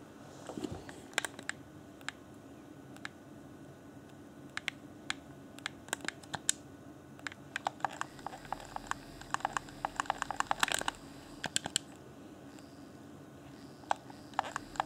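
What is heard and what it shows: A fingertip taps and clicks the buttons of a hand-sized, hollow, transparent plastic Xbox One Afterglow game controller. The result is sharp, very short, bright clicks at an irregular pace, bunched most densely near the middle and end, over a faint steady low hum.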